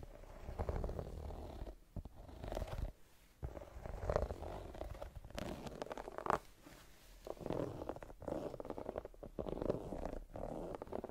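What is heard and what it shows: Long nails and fingertips scratch the brown patterned rubber sole and sidewall of a white canvas high-top sneaker. Close, quiet, muffled rubbing and raspy scraping come in uneven bursts with brief pauses, sounding low and rumbly with almost no bright edge.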